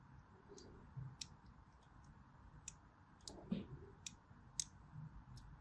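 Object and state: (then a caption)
Bar soap being scored with a blade. A blade scores the edges of a solid white striped bar of soap as the bar is rotated in hand. Short, bright scratching clicks come at an irregular pace over a low, steady background hum, and a few stand out louder than the rest.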